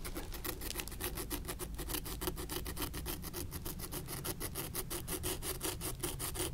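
A long thin wooden stick scrapes along the seams and leather upper of an old suede-like leather ankle boot, an antique, held upright. Rapid, steady back-and-forth rasping strokes run continuously, with a low rumble underneath, a tone near 355 Hz, and bright scratchy edges.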